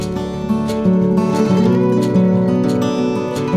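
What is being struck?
Nothing is struck.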